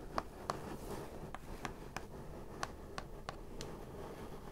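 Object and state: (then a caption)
Cardboard shipping box tapped with nails. Long acrylic nails of both hands tap and scratch the lid of a large, hollow, brown printed corrugated cardboard shipping box for a Divoom Times Gate. Nine short, crisp taps land at an uneven pace over a soft, continuous scratching rustle. Each tap dies away almost instantly.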